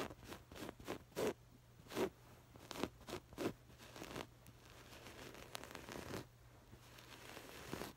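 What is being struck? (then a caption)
Stuffed cushion with woven fabric. Long acrylic nails grip and scratch the textured woven, patterned fabric of a soft stuffed cushion, with both hands bunching the fabric up. Irregular bursts of dry, bright scratching and rustling rise over a faint steady low hum, louder and more separated in the first half. The sound then settles into a quieter, continuous scraping texture.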